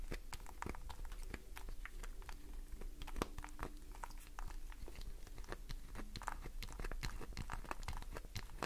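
Long nails scratch the surface of a solid green glycerin soap bar, sending shavings falling. Dense, rapid crisp scratches and sharp ticks sound over a steady low hum, with a faint tone around 300 Hz.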